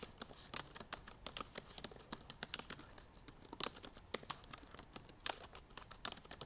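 Both hands with long painted nails type rapidly on the black plastic keys of a silver aluminum MacBook Pro keyboard. The result is a fast, irregular stream of sharp, bright clicks and taps that die away almost instantly, with very little low end.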